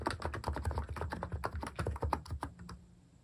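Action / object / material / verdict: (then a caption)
tap / capacitive keyboard with plastic keycaps / plastic / none. Fingertips type quickly on a capacitive keyboard with cat-themed plastic keycaps, producing a steady run of soft, muted clacks with a low thocky body and short bright clicks. The typing slows and fades out toward the end.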